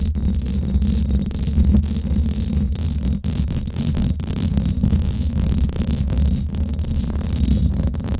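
Long nails of both hands scratch around the hollow domed steel mesh grille of a Blue Yeti microphone. The result is a continuous, dense, scraping rumble that sits almost entirely in the low end, with a deep hum near 62 Hz and very little high-frequency content. The level stays steady throughout, dipping briefly once near the middle.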